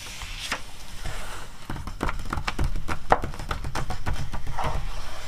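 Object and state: Magazine paper pages.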